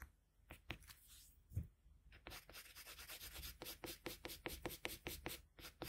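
A colored pencil held in a metal extender shades a flat sheet of drawing paper with rubbing strokes. Quiet, dry, scratchy strokes with a bright papery hiss come in a steady series, sparse at first and then quicker and more regular.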